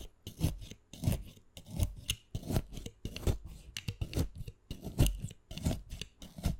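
A narrow blade scores rapid diagonal lines into the surface of a solid, wet, crosshatched green fresh aloe vera leaf held on a wooden board. Quick repeated scraping, rasping strokes come in short bursts, each with a soft low thud and a bright, crisp edge. The strokes die away almost at once.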